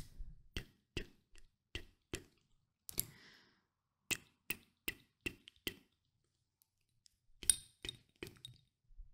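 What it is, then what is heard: Small glass bottle of oil. Short dark-painted nails tap and click on the edges of a small Nuxe glass perfume oil bottle with oil inside. Seventeen sharp, bright glassy clicks arrive in an irregular rhythm, each dying away almost instantly, with a brief pause in the middle and a louder, denser cluster near the end.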